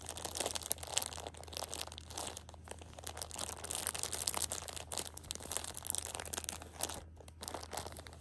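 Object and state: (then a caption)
Plastic-wrapped tissue packs crinkling. Long red-painted nails and fingertips press and scratch a Shopkins 6-pack of small, soft pocket tissue packs, each wrapped in crinkly printed plastic inside clear plastic film. Continuous bright crinkling and crunching with dense, fast rustles fills the whole clip, over a faint steady low hum.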